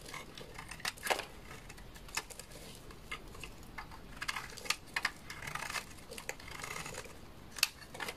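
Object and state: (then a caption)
Bar of laundry soap being scraped. A utility knife blade scrapes shavings off the face of a solid, dry beige bar of laundry soap. The sound is a quiet run of crisp, bright crackles and short scratchy clicks with almost no low end, each dying away instantly.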